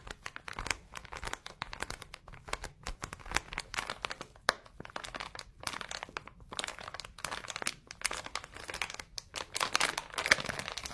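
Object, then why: Sponge sealed in thin plastic wrapper. A flat green cloud-shaped kitchen sponge, still sealed in clear crinkly plastic packaging, is held in both hands while fingertips and short nails squeeze, rub and scratch the wrapper. Dense, bright crinkling and crackling come in rapid irregular bursts, mostly high with little low end, and each snap dies away almost instantly.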